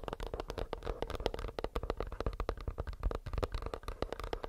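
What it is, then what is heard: Earbuds case tapped. Fingernails tap rapidly and steadily on a plastic earbuds case, making a dense stream of short, dry clicks with a soft, low body. The taps blur into a continuous pattering with a faint steady tone near 460 Hz and little high brightness.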